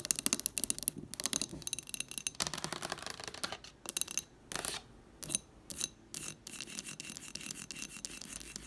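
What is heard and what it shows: An amber glass jar candle with a paper label, filled with wax and standing on a table, is tapped quickly by long nails on the glass and the label. Rapid, bright, dry clicks with almost no ring come in dense runs, broken by a few short scratchy bursts.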